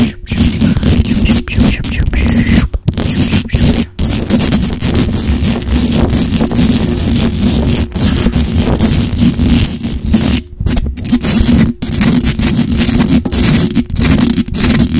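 Long acrylic nails scratch fast and hard across the hollow metal mesh grille of a black microphone. The result is a dense, continuous, bass-heavy rasping with brief pauses between bursts.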